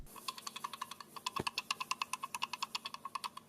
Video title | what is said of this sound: Unboxing New Galaxy S8 Clone | There's something loose inside, maybe some screws or maybe the USB port.